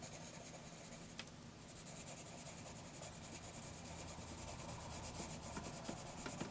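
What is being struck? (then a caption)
Graphite pencil on lined paper notebook page. A graphite pencil scratches shading strokes across a lined paper notebook page, making a steady, bright, dry rasping with a quick back-and-forth rhythm. The scratching dips briefly early on, then resumes fuller over a faint low rumble.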